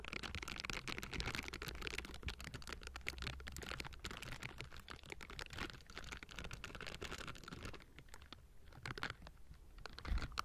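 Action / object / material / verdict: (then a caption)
scrape / metal mesh microphone grille / metal mesh / none. Hands in pink silicone scrubbing gloves with bristles scratch and tap all over the round, hollow metal mesh grille of a table-top Blue Yeti microphone. The result is a dense, steady stream of crisp scratching and fast clicking taps over a low hum, thinning out briefly near the end before a final louder burst.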